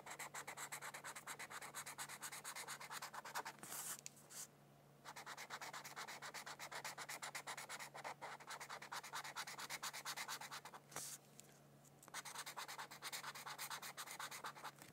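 A felt-tip marker rubs steadily across a thin white paper mandala coloring sheet lying on a book. Quick, bright, scratchy strokes run in a dense stream, with two brief pauses of near silence partway through.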